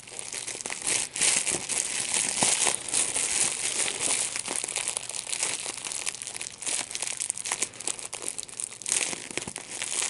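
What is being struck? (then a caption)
Plastic bubble wrap. A small piece of clear plastic large-bubble wrap, with hollow air-filled bubbles, is squeezed and popped between the fingertips and thumbs of both hands. Steady bright crinkling runs throughout, broken by many sharp, snappy pops with almost no low end.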